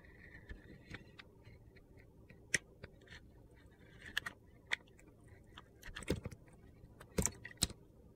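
A metal utility knife blade carves and scrapes the surface of a hand-sized solid soap bar, held in a hand, with a purple glitter coating and an orange core. Quiet, gritty scraping runs throughout, broken by about ten sharp, bright clicks and crunches that stop almost instantly, with a faint low rumble underneath.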